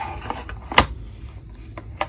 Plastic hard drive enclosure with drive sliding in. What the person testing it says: cheap sounding plastic scraping sounds